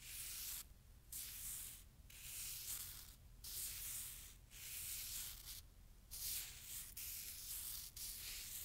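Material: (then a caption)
Snow. A clump of fresh, soft, granular snow is rubbed and crumbled between bare fingers and palms above a snow pile on a towel. Bright, hissy, crunchy rubbing comes in slow, uneven bursts separated by brief quiet gaps, with few sharp onsets and a faint low rumble underneath.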